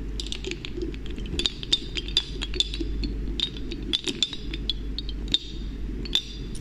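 Hands with long painted nails draw a glass pipette out of a small, partly filled, dark glass serum bottle and reinsert it into the neck, over and over. This produces a rapid series of short, bright glass clinks, each ringing briefly near 3.6 kHz, over a steady low hum.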